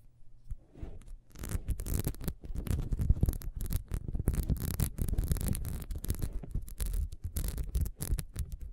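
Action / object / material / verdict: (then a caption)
scrape / ribbed wax candle / wax / none. A small, solid, ribbed wax beehive candle, held upright and then on its side, is scratched quickly with long nails along its ridges and base. The result is a dense run of dry, rasping scrapes and rubs, mostly low and muffled, with brief pauses between bursts of fast scratching.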